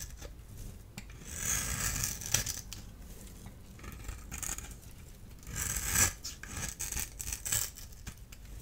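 A solid orange-and-white striped dry bar soap, held in the hand, is scraped and cut with a small blade tool. Bright, gritty scraping swells in several passes, each ending with a sharp crisp snap as the blade cuts through. A low, steady rumble sits underneath throughout.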